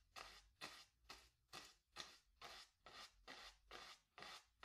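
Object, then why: Stretched cotton canvas on a wooden frame, bristle brush. A wooden-handled bristle brush scrubs and dabs black paint onto a small stretched cotton canvas on a wooden stretcher frame, hollow behind. Eleven bright, dry, raspy brush strokes come in a steady rhythm, each a short scratchy swish that fades quickly with little low end.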